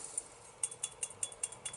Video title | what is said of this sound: Triumph T140 - AMAL EPA change to Non EPA Setup and Ride | Right, I can hear my float moving. Always give it a shake so you can hear float moving, because sometimes that gasket presses against the float itself and it sticks it shut.